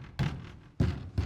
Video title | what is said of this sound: Building A DREAM WORKSHOP Inside A Metal Building! | Does it sound solid? Yeah, it sounds solid.